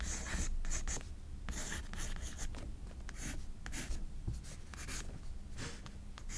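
A pencil rubs and scratches across a page of a spiral-bound paper sketchbook while shading hair. Bursts of bright, dry scratching alternate with softer, low rubbing strokes, and a steady low hum sits underneath.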